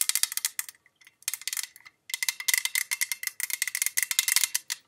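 Long pink acrylic nails rapidly tap the printed side of a tall, hollow, cylindrical pale-green metal tin with a gold rim, about 15 cm tall, from Jean Paul Gaultier La Belle packaging, held in both hands. The taps come in quick bursts separated by short pauses, each one a bright, crisp click with a faint metallic ring near 2 kHz that dies away almost instantly, with no low end.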